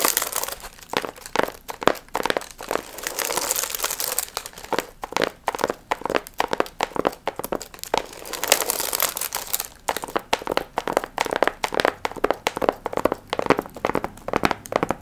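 Long nails scratch and crinkle the gold foil fringe on a medium, hollow paper pumpkin piñata. Dense, crisp crinkling and papery scratching come in rapid bursts with bright hiss and almost no low end. Longer rustling swells appear around the 3–4 second and 8–9 second marks.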